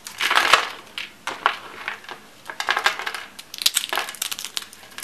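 Thin rolled curls of light blue dry soap, solid and brittle, are crushed and crumbled into flakes between fingertips and palms with dark-painted nails on a white wooden table. Dense, dry, bright crunching and crackling comes in bursts of rapid short snaps with almost no low end, and each snap stops quickly.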